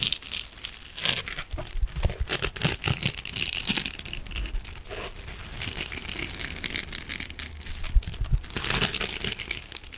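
Fingernails of both hands scratch a rectangular silver metallic mesh scrubbing sponge. The result is a dense, continuous crinkling and scratching, with bright, hissy rasps over a faint low rumble. It swells in uneven bursts throughout and has no ring after each stroke.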